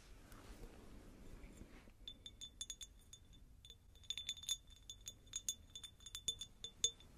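Long acrylic nails tap a hand-held, medium cut-crystal glass jar or vase with a faceted pattern, hollow and apparently empty. After about two seconds of soft, low rustling, roughly two dozen quiet, bright clinks ring out in irregular bursts. Each has a high glassy tone near 3.5 kHz and a very short ring.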